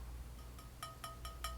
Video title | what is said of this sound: MAD DASH ESTATE HAUL I ANTIQUE & VINTAGE I RESELL FOR PROFIT | when i tap it it doesn't appear to have a crack